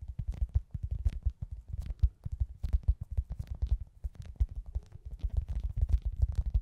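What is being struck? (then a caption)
Soft foam squishy toy. A hand-sized, soft, solid foam pizza-slice squishy toy with a face, held close, is tapped and scratched with long glittery acrylic nails. Rapid, dull, muffled low thumps come in a dense, irregular stream, with faint brighter scratchy ticks over them. Each tap dies away almost instantly in the soft foam.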